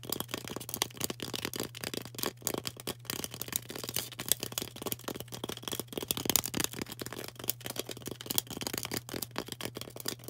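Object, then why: Floral foam block tapped and scratched with fingernails. Long orange acrylic nails rapidly tap and scratch a solid, rectangular green floral foam brick held in the hand. The result is a dense, continuous stream of dry, crackly scrapes and clicks, bright in tone and with no ring, over a steady low hum.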